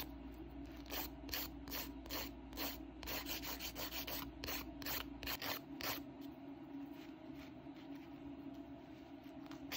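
A handheld grey OPI emery nail file of 100/180 grit rubs back and forth across fingernails coated in pink polygel in repeated strokes. Each stroke gives a short, bright, scratchy rasp over a faint steady hum. The strokes come quickly and densely for about the first six seconds, then thin out into softer, sparser passes.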